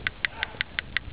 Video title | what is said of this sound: How to Remove PCV part. Nissan Vg33e positive crankcase ventilation valve. | the ball still rattles so that mean it's still in operating function